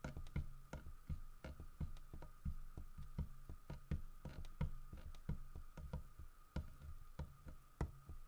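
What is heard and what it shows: Fingertips tap the side of a large, solid carved wooden bear statue in a quick, uneven series of short knocks. Each tap is a dull, low thud that dies away almost at once, with a faint steady tone humming underneath.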